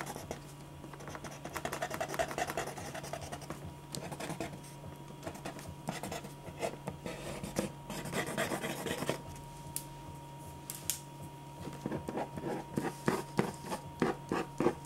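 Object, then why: Sheet of drawing paper under a ballpoint pen. A clear plastic ballpoint pen scratches dense hatching strokes across a single thin white sheet of drawing paper lying flat on a dark board. Quick, dry scratching strokes repeat in uneven runs over a faint steady hum, turning into sharper, more separated strokes toward the end.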